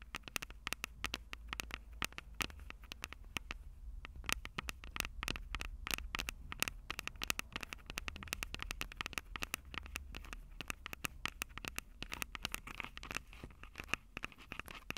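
Long purple acrylic nails tap and scratch the two metal-grilled microphone capsules of a Tascam DR-05 handheld recorder with a plastic body. A rapid, dense stream of sharp, dry clicks and scratchy crackles continues for the whole clip, bright and brittle over a steady low rumble.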